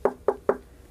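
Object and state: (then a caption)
Knock damped by a folded cloth rag. Three knocks land on a folded cloth rag laid over a center-channel speaker's mounting surface, in a knock test of that surface. Each knock is a short, dull thud centered in the low midrange that dies away almost at once. The rag audibly dampens the knock, and the damping improves the thicker it is folded.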